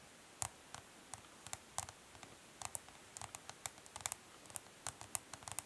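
Long nails tap quickly along the side edge of a smoky clear plastic makeup palette case standing on cloth. About 22 short, dry clicks with bright high tones ring out and stop almost instantly, spaced unevenly over a quiet, faint hiss.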